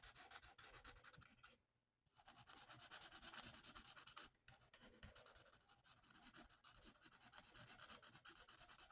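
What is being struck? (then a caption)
Felt-tip marker on a paper sheet. A red felt-tip marker colors a mandala on a thin, flat paper coloring sheet in quick, repeated strokes. The short, scratchy rubbing sounds are bright and hissy, with a brief pause near two seconds and a shorter break just after four seconds before the steady scratching resumes.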